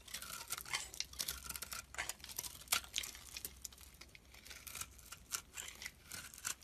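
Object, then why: Bar of soap. A metal blade scrapes and cuts into a solid soap bar with pink and green speckles, held in the hand, shaving it into crumbles. The clip is full of quiet, dense, bright scratching and crunching strokes with a crisp, papery texture and almost no low end.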